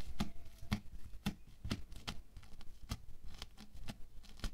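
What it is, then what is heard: Bead foam clay being poked. A wooden stick jabs and pokes again and again into a flattened, solid, roughly hand-sized patch of orange bead foam clay. Each jab gives a short, dull crunchy tap with a low thump and a brief bright crackle, dying away almost at once, with soft granular crackling between the pokes.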